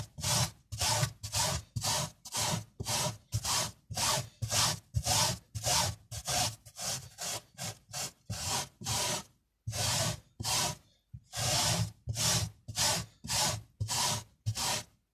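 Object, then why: Small woven fabric carpet scrubbed with a bristle brush. A tiny bristle brush held in the fingers scrubs the surface of a small tan woven miniature fabric carpet with black swirls and some foam on it. About 25 quick back-and-forth strokes make a bright, hissy scratching with a soft low rub beneath. A few brief pauses break the steady rhythm near the end.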